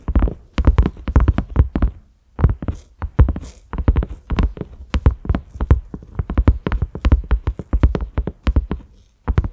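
Fingertips of both hands tap rapidly on a large round cream silicone lid with concentric ridges and a grey knob. The result is a stream of soft, deep, muffled thumps that die away almost instantly, broken by a few brief pauses.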